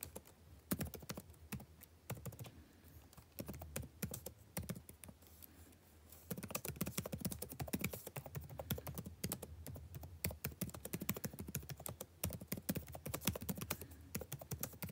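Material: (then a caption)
Plastic. Fingertips type rapidly on a backlit laptop keyboard with plastic keys, producing a steady stream of short, dry taps and clicks with a soft low thump beneath each keystroke. The typing is lighter and sparser for the first six seconds, then grows louder and denser for the rest of the clip.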